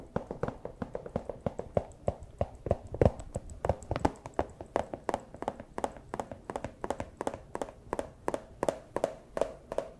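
A small, empty clear plastic pouch is held up and tapped and crinkled with the plastic claws of a fursuit paw. A rapid, slightly uneven run of about fifty short, dry plastic taps fills the clip, each with a faint crinkle and almost no ring.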